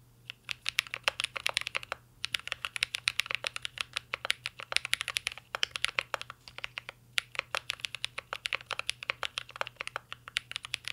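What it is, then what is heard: Mechanical keyboard with metal case and plastic keycaps. A mint green Cyberboard mechanical keyboard with a metal case and plastic keycaps is typed on continuously with the fingertips of both hands. The result is a rapid, steady stream of short, bright clicks and clacks that die away almost instantly, broken by a few brief pauses.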